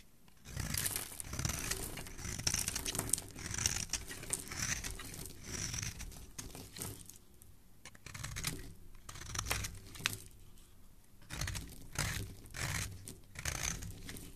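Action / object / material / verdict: scrape / soap bar scraped by a metal blade / soap / none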